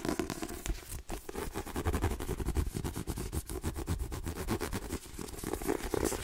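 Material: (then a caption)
Paper. Fingernails tap rapidly across a white paperback book with a glossy card cover, moving between the cover, the spine and the block of page edges. The result is a fast, steady stream of short, dry, dull clicks that stop at once without ringing, weighted toward low thuds with a faint crackly texture.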